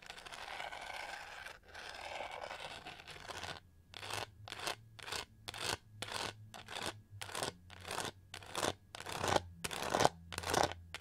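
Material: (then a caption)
Plastic. Long nails scratch and tap the raised studs on the back of a hand-sized, hollow, pink-gold plastic hair brush with a pyramid texture. A few seconds of continuous, dense, bright scratching give way to a steady series of short, separate rasping strokes, each a quick, textured burst that stops almost instantly.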